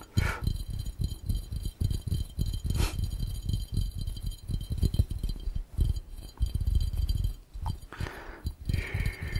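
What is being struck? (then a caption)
Glass fishbowl. An empty, hollow, round clear glass fishbowl is tapped rapidly with fingertips on its glass base and rim. The result is a dense, continuous run of short, dull, low-pitched knocks with very little ring, plus a few brighter clicks.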